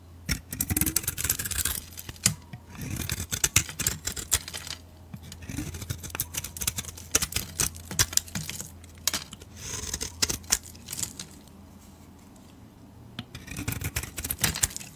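A metal blade scrapes the pink-green glitter coating off a solid bar of pale soap, making crisp, bright scratching and crumbling sounds in repeated bursts. Short pauses fall between the strokes, with a quieter stretch near the twelve-second mark, and a steady low hum runs underneath throughout.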